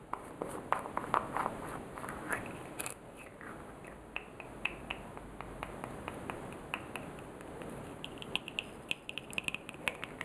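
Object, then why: Small plastic jar with screw lid. Fingernails click on the rim of a small orange plastic jar while fingers open and close its clear plastic screw lid. Many quick, dry, bright clicks and taps come in uneven bursts, each dying away almost at once, with a soft scraping hiss as the lid turns. It plays over a low, steady background.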